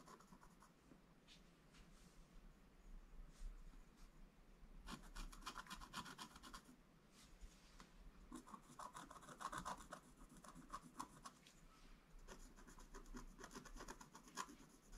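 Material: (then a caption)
Coated paper. A wooden stylus scratches across a flat, black-coated scratch art paper board, working in places near the edge of the page. Quiet, dry rasping strokes come in rapid, irregular bursts with bright, papery texture, pausing briefly between flurries over a faint low background rumble.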